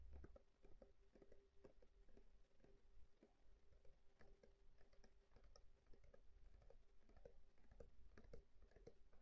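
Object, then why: Plastic bottle of liquid. Fingernails tap rapidly on a medium plastic cosmetic bottle with a silver cap, filled with pink liquid and held in the hands. The result is a quiet, steady stream of short, dry clicks and patters over a low rumble, with a faint, steady mid-pitched tone running underneath.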